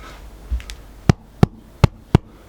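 A freshly baked bread loaf is turned over and knocked on its bottom, giving four short, dull, low knocks that stop almost instantly, after two softer thuds. The hollow knock indicates the loaf is well baked, which is confirmed when it is cut open to show a perfectly baked, even crumb of small bubbles.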